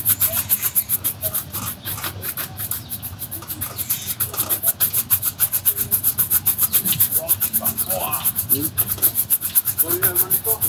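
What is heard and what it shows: A black leather Dr. Martens boot, worn on the foot, has its upper brushed quickly back and forth by hand with a bristle shoe brush. The result is a steady run of rapid, rhythmic, bright scratchy strokes with a faint low background rumble, possibly distant traffic.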